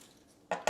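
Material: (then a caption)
Ceramic. A well-bonded ceramic floor tile is tapped twice as a reference for how it should sound. The two sharp taps land about 0.17 seconds apart and decay quickly with a short ring around 630 Hz. The tile sounds solid.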